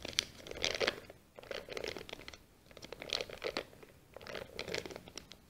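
A brown kraft paper sheet with a small white sticker, folded into accordion pleats, is held in both hands and squeezed together and opened out while long nails scratch the folds. Bright, crisp crinkling and scratching come in repeated bursts with short quieter gaps between them. The sound is dry and close, with almost no low end.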